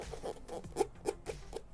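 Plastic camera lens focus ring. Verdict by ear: Hollow.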